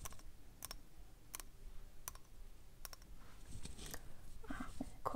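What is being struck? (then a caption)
Small cowrie-like seashell. Long fingernails tap and scratch a small, hollow, mottled brown, glossy cowrie-like seashell held in the fingers. Sharp, bright clicks come at an uneven pace, then give way to softer scratching and a few closer taps near the end. All of it is quiet and dry, with almost no ring.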